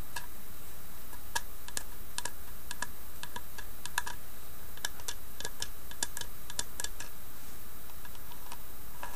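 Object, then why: Small carved wooden box. Long nails tap and scratch the carved front and side of a small hollow carved wooden box. Quick, light, dry clicks with a bright edge and a faint hollow tone patter irregularly over a steady low hum, staying soft and even throughout.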